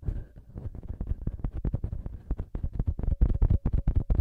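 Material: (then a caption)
Metal. Fingertips rapidly tap and rub both small knurled metal XY microphone capsule heads on a TASCAM recorder. The result is a quick, uneven run of dull, deep thumps, like heartbeat bumps, with almost no ring and a faint scratchy rubbing between them.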